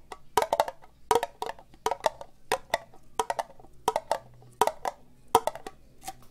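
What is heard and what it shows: An empty, hollow orange ribbed plastic cup, held sideways, is tapped slowly with fingernails. The result is short, dry, woody clicks with a bright, hollow tone around 940 Hz, coming in small irregular clusters with quiet gaps between them.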